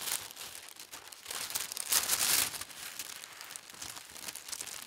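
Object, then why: Thin tissue paper sheet. A large, thin tissue paper sheet with a pastel diagonal stripe print is folded, then smoothed and rubbed by hands with long red nails. The result is a steady, bright crinkling and rustling with almost no low end, swelling to a louder crackly burst about two seconds in before settling back to soft, continuous rubbing.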